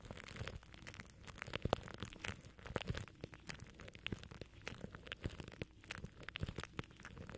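Plastic cling film wrapped over a microphone grille is scratched and pinched by fingers from above. Dense, close crinkling and crackling fill the clip with sharp, dry clicks and a rumbling low-end thump. Brief louder snaps stand out over the steady crunch.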